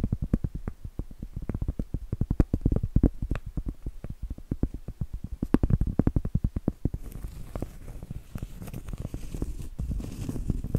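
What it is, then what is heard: Cork board. A large, round, solid cork board held upright is tapped with long blue nails, producing quick, dull, low thuds with almost no ring for about seven seconds. It then shifts to a softer, continuous scratching rasp across the cork.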